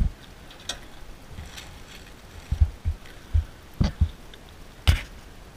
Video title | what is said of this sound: 1500 Plus Mile IRON BUTT Ride in 34 HOURS, MONTANA to TEXAS! part 1 | can you hear it sloshing